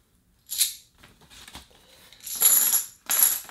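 Metal board game coins are shaken or dropped together, producing bright, jingling clinks in short bursts with softer rattling between them. The coins ring with a high, metallic shimmer that fades quickly after each burst.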